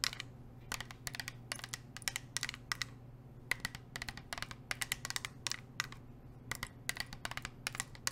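A medium, hollow, insulated navy-painted metal water bottle, held upright in one hand, is tapped and scratched with long acrylic nails wearing metal nail rings. Rapid, sharp, bright clicking taps come in irregular bursts and die away almost instantly, over a steady low hum.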